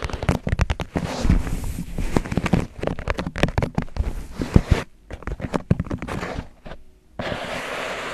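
Fingertips tap rapidly around the sides of an empty white disposable paper cup, hollow and thin-walled, held upside down over the microphone. The result is a dense, crackling stream of quick, dull taps with a deep, boomy low end, broken by short near-silent pauses around the five- and seven-second marks. The clip ends with a steady, soft rustling wash.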